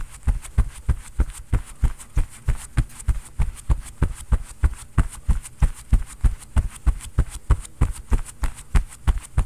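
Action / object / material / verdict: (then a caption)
strike / quilted cotton oven mitt / cotton padding / none. A fist pounds fast on a padded floral quilted cotton oven mitt worn on the other hand, making 33 dull, low thuds at a quick, fairly steady pace. The soft fabric padding muffles each hit, so the thumps are deep and short with almost no ring, over a faint steady high hiss.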